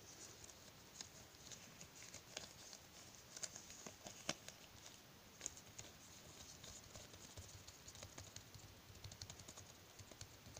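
Bare fingertips pinch, tap and rub a thin white latex glove that hangs loose and baggy on the other hand, which wears plastic bead bracelets at the wrist. The result is a quiet, steady, bright rustle of soft rubbing and crinkling, broken by short, sharp little snaps and ticks that die away almost instantly.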